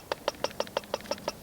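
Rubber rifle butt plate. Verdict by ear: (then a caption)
Solid. Eight quick, evenly spaced taps land on the solid rubber butt plate of a Benjamin 392S .22 caliber air rifle's stock. Each is a short, dry knock centered around 570 Hz that dies away almost at once. The plate sounds solid rather than hollow, though the stock behind it is hollow; the solid sound comes from the rubber plate itself.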